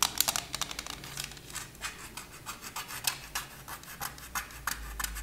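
A thin plastic CD case with a disc inside is held in both hands and tapped and scratched with long nails. Quick, irregular clicks and dry scratching sounds repeat about three times per second, bright and high-pitched, with no ring after each stroke.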